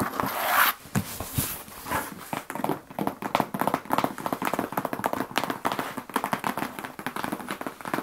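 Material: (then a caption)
Cardboard. Long acrylic nails and fingertips rapidly tap and scratch the flat surface of a large, closed brown corrugated cardboard shipping box with the Endurax logo, holding its contents, as it is held up and turned in the hands. The result is a quick, dense run of dry, hollow clicks and papery scratches.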